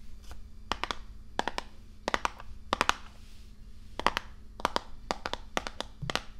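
Long nails tap on the front face of a medium-size, printed cardboard Risk board game box, which is hollow and held upright in front of the microphone. Quick, dry clicks come in short clusters of two or three, each with a bright, crisp edge and almost no ring. A low, steady hum sits underneath.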